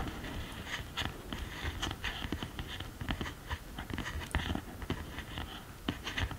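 Long green nails tap and scratch across the pressed powder pans and upper case of an open cardboard eyeshadow palette. A steady run of quick, dry clicks blends with brief scratchy rasps, each tap short and bright against a soft low rumble.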